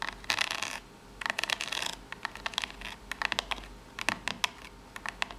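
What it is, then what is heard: Corrugated cardboard box. Long pink natural nails rapidly tap and scratch along the narrow ribbed side of a small corrugated cardboard box. The result is bright, dry bursts of raspy scratching mixed with quick, crisp clicks that stop instantly with no ring. Short pauses separate the bursts, with little low end.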